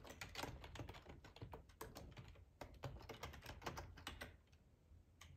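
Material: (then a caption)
Plastic. Fingertips of both hands type on a black plastic ergonomic split computer keyboard with a hollow housing, lying on a tablecloth. A quick, uneven stream of bright plastic key clicks rides over soft, hollow low thumps. The typing gets a little quieter and sparser near the end.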